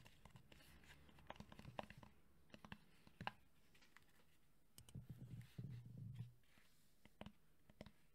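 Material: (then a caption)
Plastic. A red JBL cylindrical portable Bluetooth speaker, a hollow hard plastic body under a woven fabric grille, is held in one hand and tapped quickly with the fingertips and nails of the other. Many short, dry taps land in quick flurries, some with brief bright clicks. Around the middle a denser, low, rubbing patter rises and then fades.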